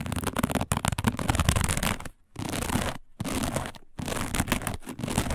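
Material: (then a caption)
Woven plastic. Long fingernails on both hands scratch rapidly across a round, flat, dark woven plastic placemat. The result is dense, crackly scratching with a full low body, broken by a few brief silent pauses before it resumes.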